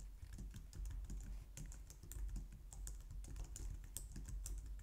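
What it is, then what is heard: Plastic computer keyboard. Fast typing with long nails on a white low-profile plastic computer keyboard, heard close up. A rapid, continuous stream of light clicks and taps, each with a bright tick over a soft low thump, runs steadily throughout.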